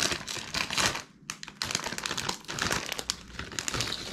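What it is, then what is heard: Plastic foil snack bag. A medium red-and-yellow printed plastic foil Bugles chip bag, partly full of corn snacks, is held in both hands and crinkled and shaken over a paper towel. Dense, bright crinkling and rapid crackles fill the clip, with a short quiet dip about a second in before the rustling picks back up and continues steadily to the end.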